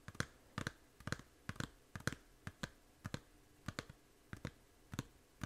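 Long nails tap a small, hollow plastic 3DS game case, first on the front and then on its edge after it is turned. The result is a run of short, dry, clicky taps, often in quick pairs, each with a low hollow knock and a bright click that dies away almost instantly. The taps are quiet and spaced unevenly.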